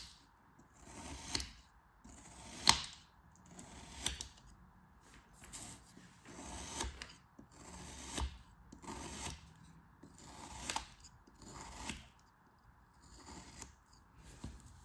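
A metal craft knife blade slices repeatedly through a molded, solid kinetic sand figure shaped like a crab, lying on a white table. Each cut makes a soft, gritty, bright crunch that fades quickly, at an uneven pace of roughly one every one to two seconds.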